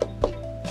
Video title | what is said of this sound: เที่ยวถ้ำเขาหลวง จ.เพชรบุรี - สูงวัยวาไรตี้ (ุ28 ก.ค. 66) | มันจะดังพกๆดังเหมือนมีอะไรอ่ะมีช่องว่างเหมือนมีช่องว่างอยู่ในเนื้อทุเรียนนะคะก็คือช่องว่างระหว่างเปลือกกับเนื้อค่ะ